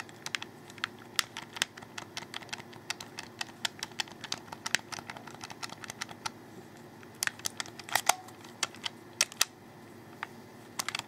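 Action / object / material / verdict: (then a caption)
tap / plastic game controller / plastic / none. Fingertips rapidly click the triggers underneath a hollow, handheld black plastic Xbox 360 controller. Dozens of sharp, bright, dry clicks come in an irregular stream, some bunched into quick clusters. Each click stops almost instantly over a faint steady background hiss.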